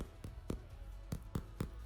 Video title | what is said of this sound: How To Make Bread - Luyện Nghe Tiếng Anh Theo chủ Đề - Learn English | I wanted to hear that hollow sound. And then you know it's fluffy and cooked on the inside